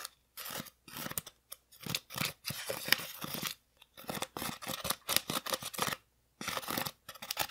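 An orange hollow styrofoam craft pumpkin, about 20 cm across and held tilted in one hand, is poked and scratched with the metal tip of a wooden-handled sculpting tool. Bright, crisp scratching and squeaky scraping come in short bursts separated by brief silences, with almost no low end and no ring after each stroke.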